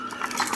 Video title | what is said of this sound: 18v Portable Cable Battery Packs Issues -OEM/Aftermarket ...Whats a guy to do? | it makes all kind of rattling noises